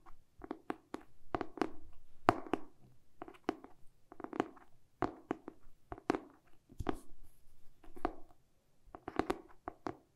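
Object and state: Hardcover book tapped with fingernails.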